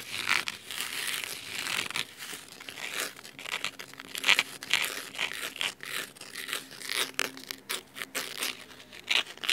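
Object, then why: Cloth-bound hardcover book. Fingernails scratch the navy fabric cover and cloth spine of a thick hardcover book resting on a wooden table. The result is a dry, crisp, bright rasping in quick irregular strokes, with occasional sharper scrapes and almost no low end.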